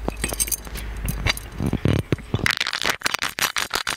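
An ornate, palm-sized, gold-colored metal genie lamp, hollow with a lid and a chain, is held in the hands and tapped and scratched with fingertips and nails. Short bright metallic taps and clicks mix with dry scratching over a low hum in the first half. A denser run of crisp, high clinking taps follows.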